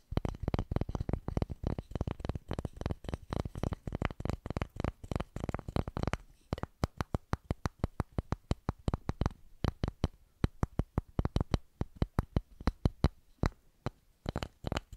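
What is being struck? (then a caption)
Flat wooden paddle with handle. A flat, solid, hand-sized light wooden board with a short round handle and a small white label, held in both hands, is tapped and scratched on its flat face with long pink-painted nails. Many quick, dry, low taps come in a dense run for about six seconds, then sparser, crisper clicks follow, each dying away almost at once.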